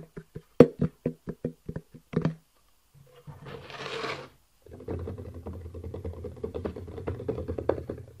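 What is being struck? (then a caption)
Small cardboard box. A small, hollow black "eGo-T" cardboard box is first held up and tapped in a series of separate, dull, hollow knocks with almost no ring. After a brief soft rustling scrape and a pause, the box is laid flat on a table and its top is tapped rapidly with the fingertips of both hands in a typing-like motion. This produces a dense, continuous patter of low, muffled thumps.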